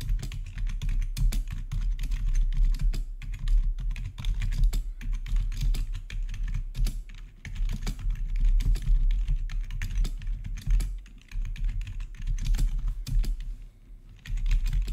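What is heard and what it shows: Fingertips of both hands type rapidly on a full-size black plastic RGB backlit gaming keyboard with a hollow housing, recorded close up. Dense, quick key taps come through as short, dull thocks dominated by low, hollow body resonance. Each tap dies away almost instantly, with brief lulls in the typing around 7, 11 and 14 seconds.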